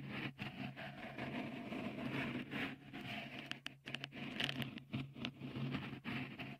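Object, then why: Dimpled silicone microphone cover. Fingertips scratch a small, hollow, white, dimpled silicone cover fitted over the right microphone capsule of a Tascam recorder. Close, dense scratching and rustling rise and fall in short bursts with brief gaps, over a steady low hum.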